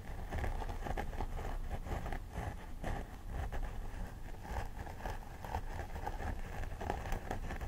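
Both hands pick at and scratch a life-size plastic doll head with synthetic hair using long nails. The result is a steady, crackly, crisp scratching texture over a dense low rumble, with brief brighter bursts.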